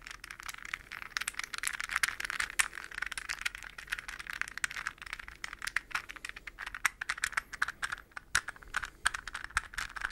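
A hollow, translucent green plastic puzzle ball, palm-sized with hexagonal segments, is held between the hands and tapped quickly with fingernails and fingertips. The result is a dense, irregular stream of dry, clicky taps centered around 2 kHz with bright edges, almost no low end, and virtually no ring after each hit.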